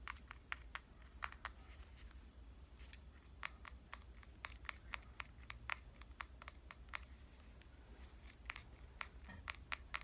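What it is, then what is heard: Compact digital camera, fingertip and nail tapping. A pink compact digital camera is tapped with fingertips and nails on its front and lens area. The result is a quick, irregular series of short, dry, bright clicks, spaced unevenly over a steady low hum.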